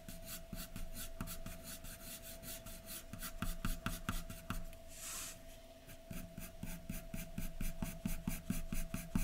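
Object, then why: Graphite pencil on a paper drawing sheet. A graphite pencil held in the fingers is stroked across a large white sheet of drawing paper lying flat on a dark surface, hatching and shading hair. Quick, uneven scratchy strokes repeat at roughly two per second over a faint steady hum, with a brief bright hissing sweep near the middle.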